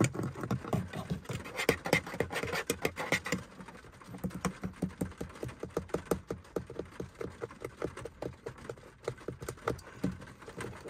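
Fingertips and nails tap and scratch on a beige, fabric-covered hollow plastic car sun visor with its vanity mirror cover closed. Fast, dull, muffled taps blend with soft scratchy friction, denser in the first few seconds and then settling into separate, rapid patter-like hits.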